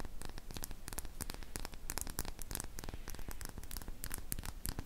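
A small glass serum dropper bottle with a silver cap, appearing to hold liquid, is held in both hands and tapped and scratched with long painted fingernails. Rapid, irregular clicking taps mix with dry, bright scratching over a steady low rumble. The taps ring only briefly.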